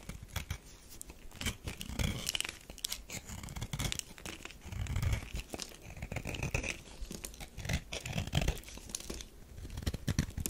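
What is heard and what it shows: A metal knife scrapes a solid, partly carved tan bar of soap into powder and shavings. The result is a dense, crackly run of short, dry scraping and crunching strokes with soft low thumps and a bright, gritty edge. The sound rises and falls in bursts throughout.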